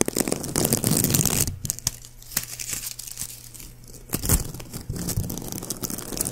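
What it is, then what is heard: Plastic gift bow, crinkled. A white, shiny, palm-sized plastic ribbon gift bow with hollow loops is held in one hand next to the mic while fingers crumple and rub it. Dense, bright crinkling and crunching crackles are loud at first, then soften into scattered sharp crackles before building back up near the end.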